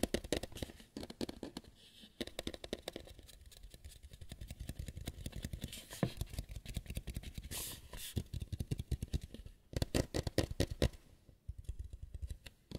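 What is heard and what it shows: A white lampshade is tapped and scratched in a quiet close-up with no talking. Rapid, dry taps with a low, thumpy body and almost no ring are heard in dense clusters, mixed with soft scraping. A few brighter, sharper flurries occur near the middle and toward the end.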